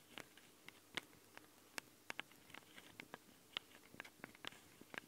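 Long nails tap and scratch the metal microphone capsules of a Tascam handheld recorder, the same capsules throughout. About 17 quiet, sharp, bright clicks come at irregular intervals, each dying away almost instantly, with soft scraping and light patter between them over a faint steady hiss.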